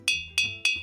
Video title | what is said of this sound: Summer - Water park | The more water I put in, the lower the sound.